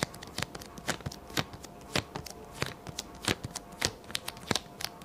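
Fingertips of both hands repeatedly press onto and lift off a small, square, yellow paper sticky note pad, a solid stack lying flat on a white table, in a sticky tapping motion. Each lift gives a sharp, dry, bright click or light peel with almost no ring, over a faint steady background hum. The clicks come in an uneven, rapid series.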